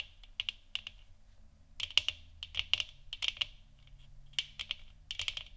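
Long nails tap the top and sides of a large, hollow, 3D-printed plastic moon lamp sphere, lit orange and resting on a wooden stand. Quick, bright, dry clicks centered around 2.8 kHz come in uneven clusters with quiet gaps between them. Each tap dies away almost instantly over a faint low hum.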